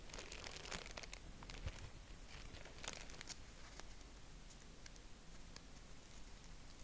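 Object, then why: Folded tissue-paper honeycomb. A hand-sized, folded purple tissue-paper honeycomb is fanned open and squeezed with fingertips. It gives soft, steady crinkling with scattered bright, sharp crackles over a quiet low rustle.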